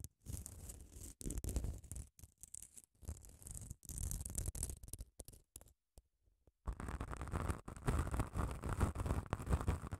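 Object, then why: Foam nail buffer block with abrasive grit surface. Long nails scratch the face of a small grey, grit-coated solid foam nail buffer block held close to the mic. They make bursts of dry, rasping scratches with a heavy low rumble, broken by short gaps and a near-silent pause. A steady run of denser scraping follows.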